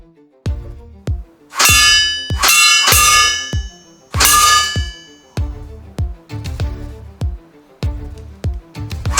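Water-based soft gel pellets from an F4 Superior are shot at the bottom of a stainless steel bowl, producing a rapid, irregular series of loud, shrill metallic clangs. The strongest hits ring out with bright, sustained tones centered around 1.2 kHz, while quicker, softer hits in between give shorter pings.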